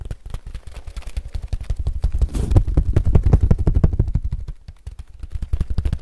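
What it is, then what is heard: Woven straw sun hat. A woven straw sun hat is squeezed, twisted and rubbed with both hands, producing a dense run of quick, dry crackles and rustles. The crackling grows louder in the middle, dips briefly near the end, then picks up again.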